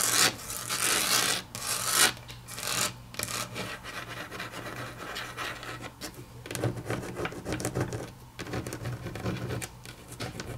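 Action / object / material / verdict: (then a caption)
scrape / wood-grain laminate tabletop / laminate / none. Long natural nails scratch and patter across a solid, flat grey wood-grain laminate tabletop, then the index fingers tap on it. A bright, raspy scraping opens the clip, followed by quieter, irregular clicks and taps over a faint low hum.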